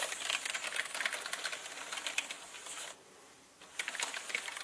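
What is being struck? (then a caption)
Plastic mechanical keyboard. Fingertips of both hands type rapidly on a full-size black plastic mechanical gaming keyboard with plastic keycaps on a plastic and metal body, producing a dense stream of bright, short clicks and clacks. The typing pauses briefly near the three-second mark, then resumes with more sharp keystrokes.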